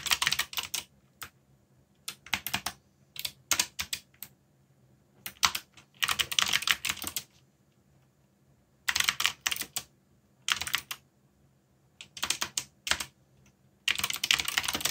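Fingertips type on a backlit mechanical keyboard with black plastic keycaps, producing bursts of bright, sharp clicking keystrokes separated by short quiet pauses. Each keystroke is crisp and dies away almost instantly, with most of the energy in the high range.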